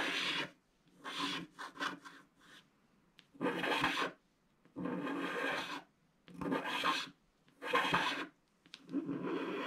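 A wooden stylus scratches the tree area of a flat, black, wax-coated scratch-art sheet. Dry, raspy scratching strokes come in bursts of varying length, separated by short silent pauses. The tone is bright and hissy, with little low end.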